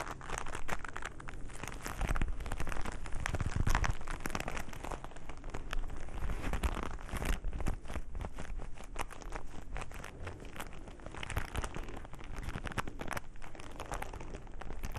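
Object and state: Leather glove being rubbed and crumpled.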